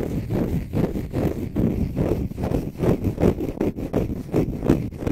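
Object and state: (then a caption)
Konjac sponge scratched with fingernails. A small, green, dry, porous konjac sponge puff is held in both hands while fingernails scratch its textured surface and squeeze it. The result is dense, low, muffled scratching and crunching in loosely rhythmic bursts, roughly two or three per second, with almost no high brightness.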